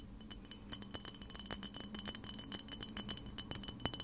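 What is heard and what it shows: Long red-painted nails rapidly tap a clear, hollow glass cleanser spray bottle, partly filled with liquid and held close to the recorder. The result is a quick, irregular run of bright, chiming clinks with a steady ringing tone near 3 kHz, each tap dying away almost at once over a faint low hum.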